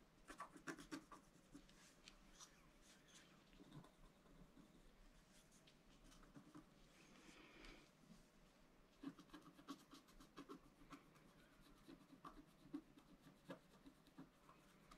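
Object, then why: Scratch-art card scratched with a wooden stylus. A wooden stylus scratches lines and stars into a black-coated scratch-art card lying flat on a table. Quiet, dry scraping strokes come in short bursts with a bright, papery rasp, separated by pauses over a faint steady low hum.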